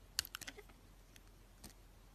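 A solid, hand-sized pink-and-white striped soap bar with sprinkle edging is held in the hand and shaved and carved with a utility knife blade. A quick cluster of short, bright scraping and scratching cuts comes early, followed by a couple of softer isolated scrapes. Each cut stops almost instantly with no ring, over a quiet background.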